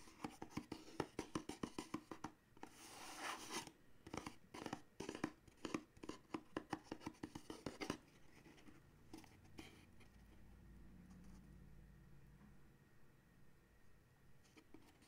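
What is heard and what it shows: Fingernails tap and scratch the side and end panels of a small paperboard coffee mug gift box held up in the hand, making a quick run of dry, crisp clicks and brief bright scratching. Around the eighth second the tapping stops, leaving only faint rustling and a low hum.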